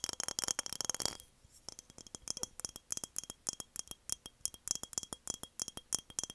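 An empty embossed glass mason jar with a metal lid is held in the hands and tilted while long nails tap on its hollow glass. A dense flurry of rapid, bright clicks opens the clip, then gives way to quick, separate glassy taps with a faint ringing tone near 3 kHz. Each tap dies away almost at once.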